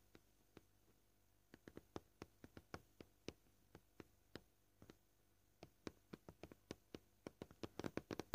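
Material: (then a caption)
Plastic. Short purple fingernails tap on a flat, solid, scratched white plastic cutting board. Quiet, dry, clicky taps with almost no ring come at a varying pace, with brief pauses in between. They grow quicker and denser toward the end.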